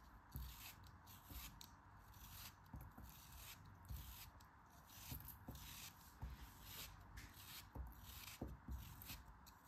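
A solid pink kinetic sand dome held in the hand is sliced and scraped with a metal craft knife. Quiet, crisp crunching cuts and gritty scraping repeat over a soft, low rumbling bed, with brief bright hissy bursts as the blade drags through the sand.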